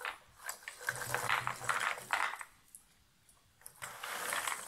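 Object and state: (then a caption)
Cardboard jigsaw puzzle pieces shaken in a box lid. A shallow cardboard box lid full of loose cardboard jigsaw puzzle pieces is tilted and shaken, so the pieces slide against each other and the cardboard. Bursts of dry, papery rattling and scraping rise and fall, fading to near silence in the middle before a final stretch of sliding.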